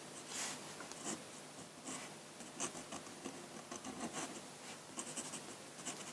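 A steel-nib dip pen with a wooden handle, held at the fingertips, scratches ink lines across a large flat sheet of drawing paper on a table, with the ink bottle left untouched at the side. Quiet, dry, bright scratching strokes come in short bursts over a faint hiss, with almost no low end.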